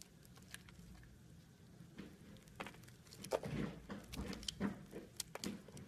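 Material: Soap.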